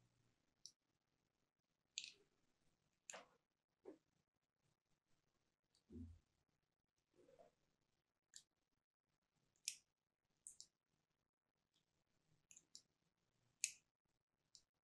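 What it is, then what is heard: Bar of soap being cut. A small metal blade tool is drawn across a cream Absolut solid soap bar held in the hand, cutting fine lines into it. A series of quiet, crisp, high-pitched scratching and clicking strokes comes at irregular intervals. Each stroke dies away almost at once, with near silence in between.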